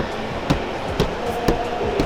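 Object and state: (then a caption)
Damped car fender sounding solid, not hollow. A front car fender panel fitted with sound-damping material is knocked four times at even intervals over steady background noise. Each knock gives a short, dull thud with a low-mid tone around 470 Hz that dies away quickly. The damped fender sounds dense and full rather than hollow.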